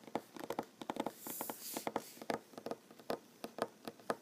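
Short fingernails tap rapidly on a large solid wooden tabletop, making about sixteen dry, quick knocks with a mid-range tone and almost no ring. Around the middle of the clip, a soft, bright hiss swells up beneath the taps and then fades.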